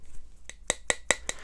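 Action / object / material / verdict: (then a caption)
flick / horn shoehorn / bullhorn / real. A shoehorn made of real bullhorn is flicked, giving five quick, evenly spaced clicking taps with a bright, dry clink and almost no ring.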